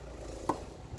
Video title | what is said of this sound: SEASONING FIREWOOD - HOW TO TELL IF YOUR WOOD IS DRY | when you knock them together, you can hear the sound. It's low pitch.